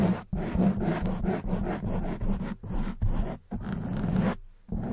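Long white nails scratch a soft black foam windscreen on a silver condenser microphone. The result is a dense, close, muffled rustling with a strong low thump around 200 Hz, sounding in continuous scratching bursts broken by a few brief silent gaps.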